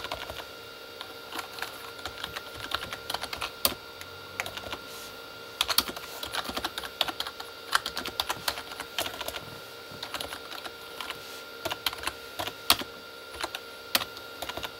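Both hands type with their fingertips on a Corsair K35 plastic membrane keyboard with red backlit keys. A steady stream of quick, bright plastic taps and clacks comes in uneven bursts, with a few sharper, louder keystrokes. A faint constant tonal hum sits underneath.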